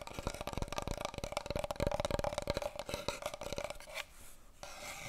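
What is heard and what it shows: A long, hollow brown cardboard paper roll tube, held horizontally, is tapped and scratched across its top by long nails and fingertips. Rapid, dry clicking taps and scratchy rasping carry a steady hollow resonance, fading to a quieter soft rub near the end.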